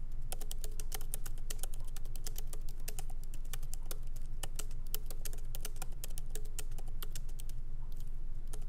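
Both hands type lightly with fingertips on the plastic keycaps of a MacBook Pro laptop's aluminum-bodied keyboard, resting on a wooden desk. Quick, uneven, bright clicking taps continue throughout over a steady low hum.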